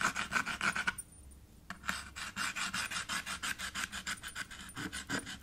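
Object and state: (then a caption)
Chalk scraping on a slate chalkboard. A white chalk stick is dragged and scraped back and forth across a small dark chalkboard in a red wooden frame. Quick, rasping strokes with a bright, hissy edge and a squeaky tone around 1.5 kHz repeat at about three per second. After a brief quiet pause near the one-second mark, the scraping resumes in a steady rhythm.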